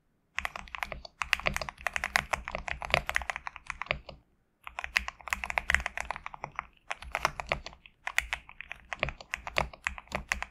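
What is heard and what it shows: Fingertips type on a GMK67 compact mechanical keyboard with PBT plastic keycaps resting on a desk mat. Rapid, crisp, bright clacks come in several quick bursts separated by short pauses. Each keystroke is dry and dies away almost instantly, with a faint low hum underneath.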